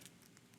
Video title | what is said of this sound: HSN - Chef Wolfgang Puck 10.07.2018 - 08 PM | You can hear how crispy it is.